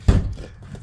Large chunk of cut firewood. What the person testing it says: right now, it's so dry, it sounds hollow